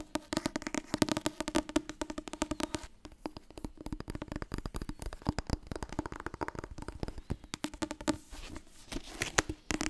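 Fingers tap rapidly on the softcover paper book 'Het Wasbord dieet' for the full ten seconds, producing a dense stream of short, dry taps that die away almost instantly. The taps carry a papery thump with a steady tonal center near 300 Hz, varying in loudness throughout.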